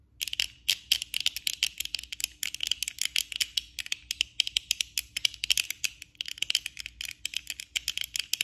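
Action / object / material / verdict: tap / plastic eyeglasses frame and lenses / plastic / none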